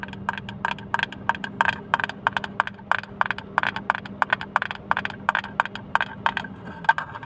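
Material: Plastic.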